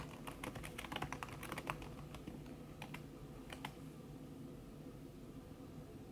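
Fast fingertip typing with long red-painted nails on a thin backlit aluminium keyboard whose plastic keys sit under a red silicone skin. A quick, uneven run of soft, bright taps clusters in the first four seconds, then fades to a low steady hum. The silicone cover keeps each tap short and muted.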